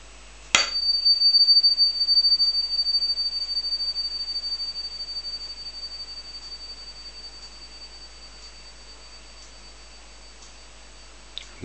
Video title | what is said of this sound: 9ct Gold Ping Test | there is obviously a bit of silver in this gold ring it being 9 karat